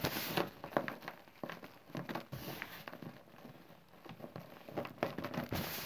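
Packed clumps of green chalk and cornstarch powder are crushed and crumbled between bare fingers over a loose pile of powder. The result is an irregular stream of dry, crunchy crackles and soft crumbling bursts, each one short with no ring, and a brighter rush of fine crackle at the start and end.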